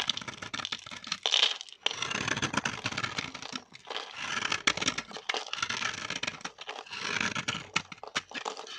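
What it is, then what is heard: Dry bar soap scraped into flakes. A metal blade scrapes a solid green bar of dry vintage soap held in the hand, shaving it into crisp flakes. Bright, dry crackling and scratching comes in repeated strokes separated by brief pauses, with little low end.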